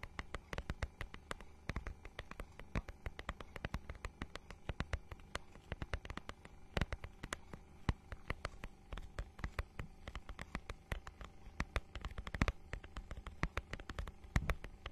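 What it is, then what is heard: Textured plastic book cover. Long nails scratch across the holographic, scale-textured plastic cover of a notebook-sized book. A rapid, irregular stream of short, dry ticks and scrapes crackles over a steady low hum. Each sharp click dies away almost instantly.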